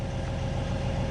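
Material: Nothing is struck.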